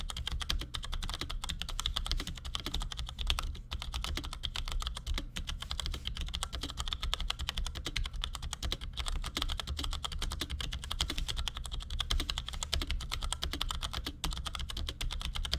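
Fingertips of both hands type in quick taps on a compact black plastic Cherry G84-4100 keyboard with ML switches resting on a desk. A fast, steady stream of short, dry, bright clicks and clacks runs throughout, each dying away almost instantly. A constant low hum sits underneath.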